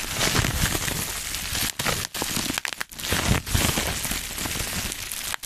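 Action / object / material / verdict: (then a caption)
scrape / clear plastic bubble wrap / plastic / none. A small sheet of clear plastic bubble wrap is held up near the mic while fingertips pinch, pop and crinkle its air bubbles. A dense, steady crinkling hiss fills the clip, bright up top with low thumpy handling underneath, broken by short sharp pops and a few brief pauses.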